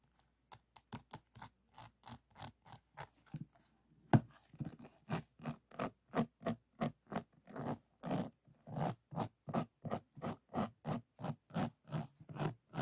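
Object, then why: Finished diamond painting, resin drills on canvas board. Fingertips and nails scratch and rub across a finished, solid diamond painting about A4 size, made of small faceted resin drills glued onto a flat canvas board. About 34 short, dry, gritty scraping strokes repeat at a steady pace. They start soft and quiet for the first four seconds, then turn louder and fuller for the rest of the clip.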